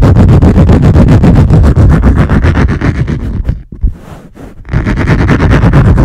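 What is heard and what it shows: Long nails scratch and tap fast on the top of a wood-grain laminate lap desk, making a rapid, steady run of dull, low-heavy knocks mixed with scratchy texture. Around the middle the sound drops to a quieter, softer scratching for about a second, then the loud fast tapping picks back up.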